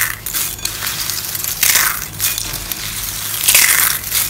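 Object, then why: Soap curls crushed by hand. Pink and blue dry soap curls are crushed by hand into small flakes in a white bowl, the fingers pressing and rubbing the pile. Dense, bright crunching and crackling comes in several louder surges over a steady gritty rustle, with almost no low end.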